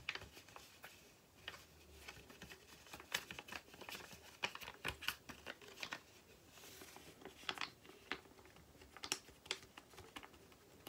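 Long painted nails tap quickly on a small, flat white paper or card sachet packet. The result is a quiet, dense run of crisp, bright clicks with light papery crinkling, each tap dying away almost at once.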